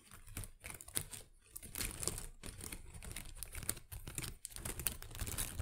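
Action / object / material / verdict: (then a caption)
scrape / artificial plant with small plastic leaves / plastic / none. Long acrylic nails scratch and tap the small plastic leaves of an artificial potted plant. The result is a dense, bright crinkling rustle scattered with quick, sharp clicks, with no ring after each one.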